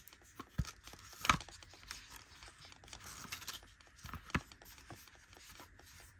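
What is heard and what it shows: Long nails rub and scratch along the embossed lace-patterned edge of a flat, rectangular, cream-colored molded plastic eyeshadow palette. The result is a quiet, irregular, dry scraping texture, broken by a few sharper, bright plastic ticks and clicks that die away almost instantly.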